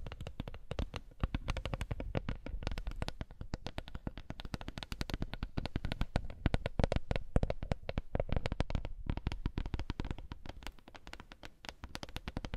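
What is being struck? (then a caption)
Wooden coaster. A wooden coaster is tapped rapidly and continuously, producing a dense stream of short, dull knocks that barely ring. The taps carry mostly low, thuddy energy with little brightness and hold a fairly steady, quiet level throughout.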